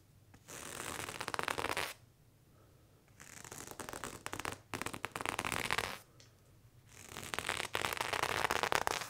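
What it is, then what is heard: Knife scraped on denim jeans. A serrated knife blade drags and scratches along worn blue cotton denim jeans on the thigh in repeated strokes. It makes a rough, bright, raspy scraping with fine crackly texture, heard in three bursts separated by quiet pauses.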